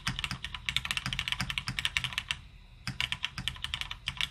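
A beige plateless M0110 mechanical keyboard with plastic keycaps sits on a desk mat while both hands type steadily with their fingertips. Dense, bright, short clacks run throughout, with a brief pause just before the three-second mark before the typing resumes.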